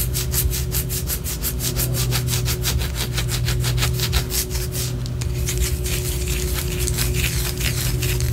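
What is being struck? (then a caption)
Wax pillar candle scratched with fingernails. Long orange acrylic nails scratch rapidly up and down the side of a large white solid wax pillar candle held in both hands. The quick, dry, rasping strokes blend into a continuous bright scratching texture over a steady low hum.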